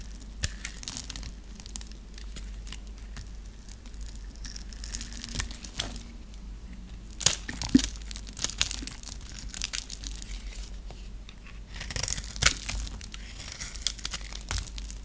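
A flat metal blade scrapes a dry, hand-held solid brown bar of soap, shaving off cubes and flakes that fall away. The sound is a steady, crisp crackle and crunch of dry shavings breaking free, with sharper, brighter snaps around 7 to 8 seconds and again near 12 seconds, over a faint low hum.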